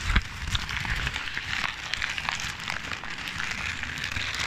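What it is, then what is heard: Crumpled paper. A ball of crumpled paper is squeezed and crinkled by hand against the side of the microphone. Dense, bright crackling runs throughout, with low thumps from the mic being touched. The crinkling stays steady and continuous for the whole clip.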